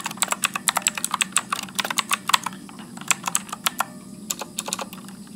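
Fingertips type continuously at medium speed on a backlit Motospeed mechanical keyboard with blue clicky switches and plastic keycaps. Bright, sharp clicks with very short decay follow one another over a faint low hum, with a brief lighter stretch in the middle before the steady typing resumes.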